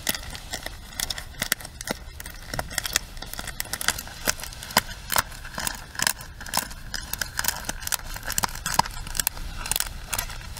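A small plastic hairbrush has its bristles and body scratched with long nails. The result is a dense, crackly scratching with many quick, sharp, bright ticks that die away at once over a steady, papery hiss.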